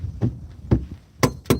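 Lake ice on a frozen lake is struck four times with a tool to test it, giving short, low, dull thunks with almost no ring. The ice sounds hollow; it may be 12 inches thick but is poor enough to treat as only 3 inches.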